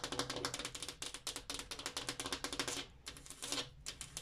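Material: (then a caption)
Glass. Fingertips or nails tap rapidly on a glass mirror, making a quick flurry of short, bright, clicky taps with a faint ringing tone around 500 Hz. The taps come in quick bursts with a brief lull near the three-second mark before picking up again.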